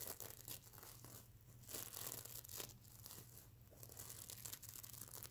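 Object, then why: Plush pillow covered in plastic sequins. Fingernails scratch across a soft stuffed mermaid unicorn pillow covered in reversible plastic sequins, flipping the sequins over to show the silver side. It makes a bright, crinkly, rasping scratching in uneven bursts over a steady low hum, with the strokes running together rather than landing as separate hits.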